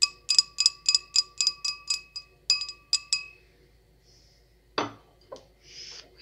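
A decorated wine glass is tapped in a quick, uneven run of bright, chime-like clinks, each with a high ringing tone that fades fast. After a pause, a short broadband scrape from scratching the glass is followed by a smaller one and a soft hiss.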